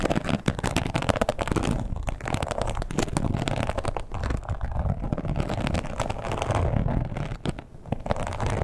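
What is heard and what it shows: Long pointed acrylic nails scratch and tap on a red croc-embossed leather wallet lying flat and closed with a strap. The result is a steady, dense run of dull, textured scratching broken by quick, dry taps that stop without ringing, with the sound weighted toward the low end and very little brightness.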